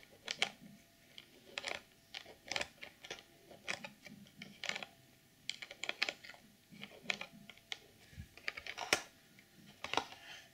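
Long nails tap and click on the top edge and front face of a clear plastic packaging box. The result is a quick, irregular run of sharp, bright clicks that die away almost instantly, with little low end.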